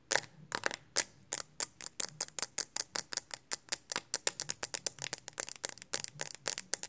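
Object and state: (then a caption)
Plastic phone case. Long acrylic nails tap quickly on the flat back of a smartphone in a pink hard plastic case held in both hands. About 34 sharp, dry clicks sound in rapid, uneven succession, bright and high with almost no ring after each tap.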